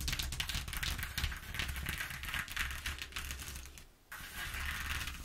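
Long nails tap and scratch over the exposed ridges of a flat corrugated cardboard sheet, making a rapid, irregular stream of dry, bright clicks and scrapes over a steady low hum. The sound fades almost to silence just before the four-second mark, then the scratching picks up again.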